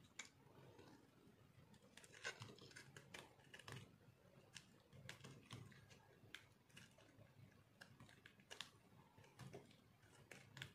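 A metal blade scrapes and cuts thin flakes from a solid, pinkish, dried soap bar with a green spot, held in the hand. Quiet, dry, crunchy scrapes and sharp clicks come in an irregular stream, bright at the top, each one dying away almost at once over a soft low hum.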